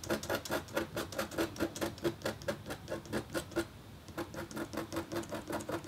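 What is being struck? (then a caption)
Black-coated copper foil scratch board. A metal-tipped stylus scratches across a flat, thin, solid black-coated copper foil scratch art board in quick, fairly regular strokes. Each stroke makes a short, dry scrape with a faint tonal ring and bright edges. The strokes pause briefly around the four-second mark, then resume.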